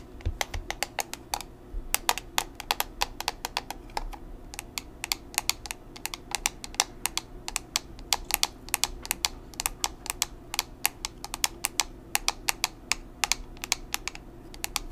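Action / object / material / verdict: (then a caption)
tap / small plastic powder compact / plastic / none. Long nails tap rapidly and steadily on a small, square, black plastic pressed-powder compact with a hollow case. The result is a continuous run of sharp, bright clicks that die away almost instantly, over a faint low background hum.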